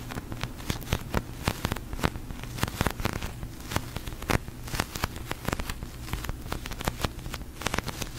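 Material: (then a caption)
Polyurethane foam. A large, soft pink slow-rising sticky polyurethane foam squishy toy is scratched and tapped with long nails and fingertips, and pressed so it sticks and peels. Many short, dry clicks and taps break through a low, steady hum with faint crackle.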